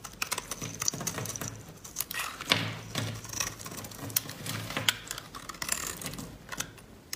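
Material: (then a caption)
Soap. A metal blade scrapes along the surface of a solid rectangular yellow laundry soap bar held in white-gloved hands, with dry shavings piling up on a wooden table. The result is a rapid series of crisp, dry scratching clicks, mostly bright and high with a light low thump under the firmer strokes. Each stroke stops short with almost no ring.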